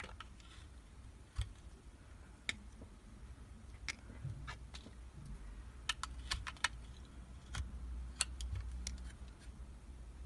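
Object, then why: Bar of soap cut with a metal knife blade. A metal utility knife blade shaves curls from a solid translucent purple soap block held in the hand, making short, sharp, bright clicks and crisp scraping ticks. The cuts are scattered irregularly over a steady low rumble.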